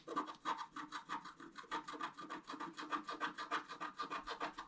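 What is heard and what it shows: A wooden stylus scratches the black coating of a flat scratch-art paper card, working on the lower part of a fountain picture. Quick, fairly even back-and-forth strokes, about three per second, make a dry rasping scratch with a mid-range tone around 930 Hz and a thin bright edge. Each stroke stops short with no ring.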